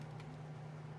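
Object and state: Nothing is struck.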